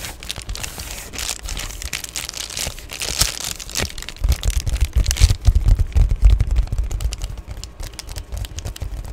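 An Amazon Prime padded poly bubble mailer, with its wrinkled back side briefly held up to the face, is scratched with nails and rubbed with fingertips. Quick, bright crinkling scratches fill the first half. After about four seconds, heavier rubbing adds deep, muffled thumps underneath the crinkle.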